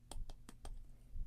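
A big plastic ruler is tapped, making a quick series of light, dry clicks with a brief high-pitched tick and almost no ring, set over a low background hum.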